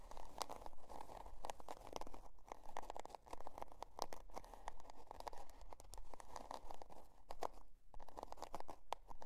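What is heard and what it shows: Long dark nails scratch the scale-pattern cardboard cover of a spiral-bound notebook resting on faux fur. Quick, fairly regular crunchy, crinkly scrapes come in dense bursts, centered in the midrange around 900 Hz, with short bright clicks over a constant low rumble. The scratching is quiet, and each stroke dies away almost instantly.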